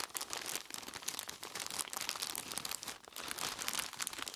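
Purple nitrile-gloved fingers squeeze and scratch the front and sides of a large clear plastic bag full of crushed ice. The result is a dense, continuous run of bright crinkling plastic and grainy ice crunches with almost no low end. There is a brief lull near the three-second mark before the crinkling picks up again.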